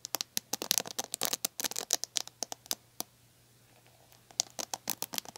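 Long nails and fingertips scratch and pluck the plastic bristles of a red plastic paddle hairbrush, making rapid, bright, crisp clicks and scratchy flicks. The plucking is dense at first, thins out to a near-silent lull in the middle, then returns in a quick run of sharp snaps over a faint, steady low hum.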